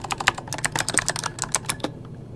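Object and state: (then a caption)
Plastic mechanical keyboard being typed on. Fingertips of both hands type quickly on an RGB-backlit mechanical keyboard with plastic keycaps. The result is a rapid run of short, sharp, bright clacks with almost no ring, over a faint low hum. The typing stops just before the end.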